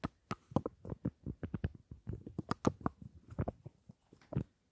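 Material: Metal, plastic.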